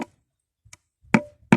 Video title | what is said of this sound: Nakita na nmin ang botas paponta sa gold. | Bato to eh. Ibang tunog, oh. Lagubo.